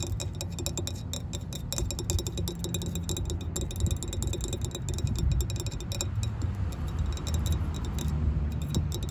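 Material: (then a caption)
Aluminum. Long nails and fingertips tap and scratch a solid anodized aluminum tow hook ring with a large center hole, up close. A steady stream of quick, light metallic ticks and clicks with very little ring rides over a continuous low rumble, with bright scratchy edges throughout.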